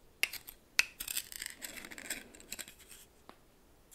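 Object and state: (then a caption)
Coarse salt stirred in a small bowl. A red plastic spoon stirs coarse salt in a small bowl, making bright, gritty scraping and crunching with a few sharp clicks of crystals. The sound comes in uneven bursts at a quiet level, with almost no low end.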